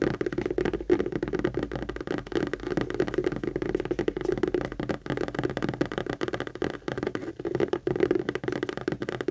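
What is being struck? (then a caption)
Structured leather handbag. Long acrylic nails rapidly tap and scratch the textured front panel of a medium pink Kate Spade structured saffiano leather handbag, which is hollow and held upright. A dense stream of quick, dry clicks and scratchy rustling carries a hollow midrange resonance with very little low end. The sound stays steady and fairly quiet throughout.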